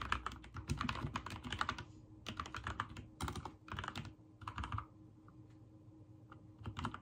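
Fingertips type on a backlit mechanical keyboard with white and teal plastic keycaps. Bursts of rapid, crisp key presses come with a clacky midrange snap and soft low thuds. Short pauses fall between the runs, with a longer near-silent stretch before a final flurry of keystrokes.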